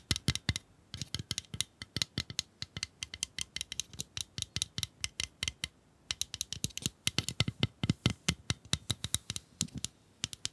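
Long acrylic nails tap and scratch a small, hollow pink plastic bunny-shaped pencil sharpener held up by the fingertips. Dozens of quick, dry, bright clicks come in rapid bursts, with a brief pause around the six-second mark before the tapping resumes. Each click dies away at once.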